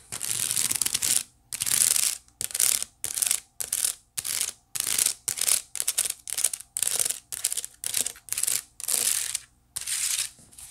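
Long nails scratch along the woven ridges on the side of a white woven wicker basket in a series of separate strokes, each a bright, crackly rasp with almost no low end. The strokes vary in length and are divided by short silences.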